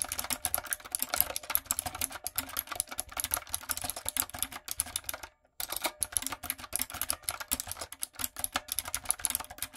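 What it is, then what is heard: Mechanical keyboard with plastic keycaps. Long nails and fingertips type rapidly on a retro typewriter-style backlit mechanical keyboard with round plastic keycaps. A dense stream of sharp, bright clicks and clacks runs throughout, with a brief silent pause just past the midpoint before the typing resumes.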